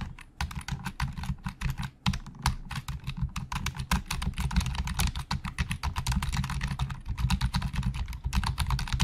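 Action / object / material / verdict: tap / plastic computer keyboard / plastic / none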